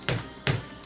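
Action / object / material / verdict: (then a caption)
knock / boxing sparring glove knocked on a stone countertop / foam padding / soft. A boxing sparring glove is knocked three times on a marble countertop. The knocks are dull and low-pitched, thudding around 100 Hz and dying away almost at once. The soft, squishy, cushiony padding of the sparring glove is what sets it apart from a bag glove.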